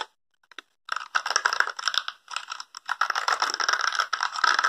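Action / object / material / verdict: scrape / small spiky plastic brush / plastic / none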